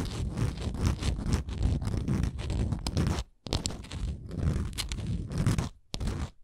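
Long nails scratch the stepped top edges of a small, solid, printed wooden Canada souvenir ornament. The result is a dense run of close, dry, crunchy scrapes with a low-heavy body and brief bright edges. The scraping breaks off into short near-silent gaps around the middle and near the end.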